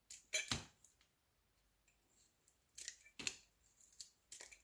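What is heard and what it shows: A solid, elongated beige-yellow soap bar held in the fingers is shaved and scored with a metal utility knife blade. Short, crisp, bright scraping strokes come in quick bursts, separated by quiet pauses.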